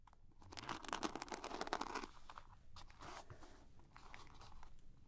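Long painted nails tap and scratch a small, soft-sided zippered makeup pouch with a sparkly glitter surface, held in both hands and probably holding small items. A dense burst of crunchy, crinkly scratching peaks early in the clip, then gives way to quieter, irregular taps and scrapes with a bright, gritty edge.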